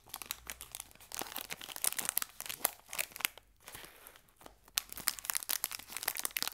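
A small, full green Gullón biscuit pack of metallized foil-plastic is picked up and crinkled between fingertips with short painted nails, while a second pack rests untouched at left. Dense, bright, crackly crinkles and crunches come in quick bursts, ease into a softer rustling lull midway, then pick back up. Each crackle stops sharply with no ring.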